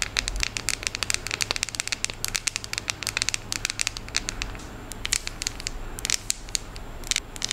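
Long acrylic nails tap and scratch across the segmented squares of a solid, unwrapped, hand-sized milk chocolate bar held in both hands. A dense stream of quick, crisp, bright clicks and scratchy crackles continues throughout, each tick dying away at once over a faint steady low hum.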